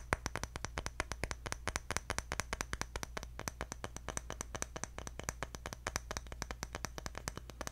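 Fingertips tap quickly and steadily on a round, engraved, palm-sized bamboo jar lid, flat with a rim, held in the other hand. Each tap is a short, dry click with a bright edge and almost no ring, over a steady low hum.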